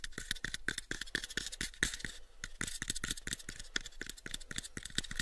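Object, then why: Small wooden box. Fingertips and nails tap and scratch on a small pale wooden cube box in a quick, uneven run of dry, clicky knocks with a bright edge around 1.8 kHz. Light scraping fills the gaps, and each tap dies away almost at once.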